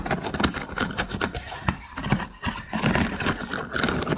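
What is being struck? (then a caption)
Cylinder of thin wooden sticks. Fingers and nails scratch and strum across the vertical ribs of a hollow cylinder holder made of thin wooden sticks, in dim light. The result is a dense run of quick, dry clicks and rasps with a woody low body and a bright scratchy edge. It stays fairly steady, with a brief quieter dip midway.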